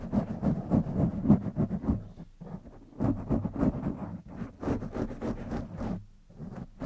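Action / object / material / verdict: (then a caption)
scrape / foam microphone windscreen / foam / none. Fingertips and short nails of both hands scratch and rub continuously over the soft, porous black foam windscreen on a silver studio condenser microphone. The close, rustling scrapes come in rapid, uneven strokes with a warm low-mid body around 200 Hz and bright, hissy edges.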